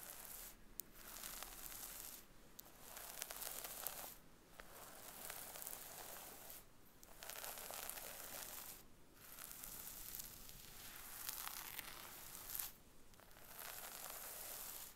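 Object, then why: Synthetic wig hair on a mannequin head. Long acrylic nails, both hands in view, scratch along the scalp parting of a brown wig on a mannequin head. Bursts of bright, dry scratching and crinkling run for a few seconds each, separated by short quiet pauses.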